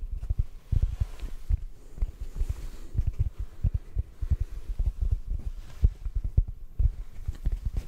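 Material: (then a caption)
Foam. A large, soft yet solid yellow porous synthetic foam sponge block is held in both hands and gently tapped with the fingertips. The result is a rapid, irregular stream of soft, muffled low thumps with almost no high-end content. Each tap dies away almost instantly.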